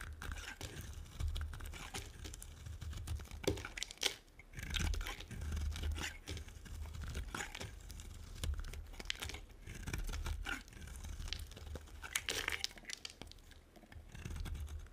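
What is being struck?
Bar of soap cut with a metal blade.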